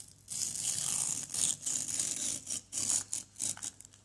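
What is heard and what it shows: A small solid orange plaster excavation block is scraped with a white plastic knife. The result is a run of bright, gritty scraping strokes with short pauses between them. The sound is crisp and high, with almost no low end.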